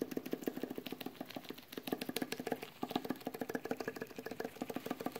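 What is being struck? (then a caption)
Small sealed metal food can. Latex-gloved fingertips tap rapidly on the metal lid of a small, sealed, full metal food can. About 34 quick, dull taps land in an uneven rhythm, each a short knock centered low-mid around 280 Hz with a brief bright edge. The taps die away almost instantly.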